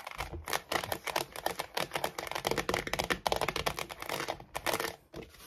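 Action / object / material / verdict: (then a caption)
tap / hollow plastic storage basket / plastic / none. Long nails rapidly tap and scratch the base and slotted sides of an empty cream hollow plastic storage basket, turned upside down and on its side. The result is a fast, dense stream of short, dry clicks and scrapes with a bright, crisp edge and almost no ring.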